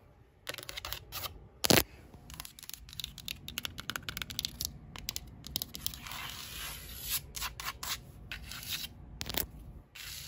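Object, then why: Painted drywall wall tapped and scratched with long nails. Long pink acrylic nails tap and scratch across a flat white painted interior drywall wall with a solid surface. Quick, bright clicking taps mix with dry, rasping scratches, and one sharper, louder knock stands out early on.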